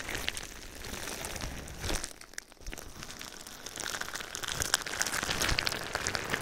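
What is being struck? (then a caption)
Plastic bubble wrap sheet. A clear plastic bubble wrap sheet with small air-filled cells is draped over a binaural microphone and rubbed and pressed with fingertips. Dense, irregular crinkling and crackling fills the clip with bright, sharp pops scattered throughout. A brief quieter dip comes just after two seconds before the rustling builds back up.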